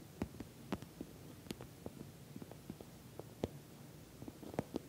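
Long nails tap and scratch the top and corner of a glossy orange, soft-sided, filled patent vinyl cosmetic bag. The result is a quiet, irregular series of short, dry clicks and taps with brief scratchy sweeps over a low, soft rumble. The clicks have little ring and bright edges.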